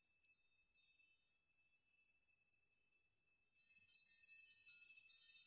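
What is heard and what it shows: A large curtain of many long hanging steel nails is pushed and rocked by hands and fingers so the nails clink together. Sparse, bright, high-pitched tinkles ring briefly for the first few seconds, then the nails swing harder and the sound turns into a louder, dense shimmering clatter.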